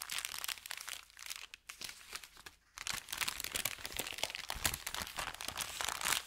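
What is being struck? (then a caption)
Thin kraft paper bag. An empty, thin brown kraft paper bakery bag is folded in half and pressed by hands, making dense, bright, crackling paper crinkles. The crinkling runs almost continuously, easing briefly to near-quiet around 1.5 and 2.5 seconds before picking up again more intensely toward the end.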